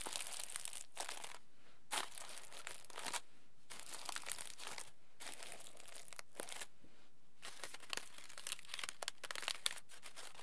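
Crumpled aluminium foil is pressed into a ball between both palms, then pulled open again with fingers. It makes dense, bright crinkling and crackling bursts, separated by brief quiet gaps.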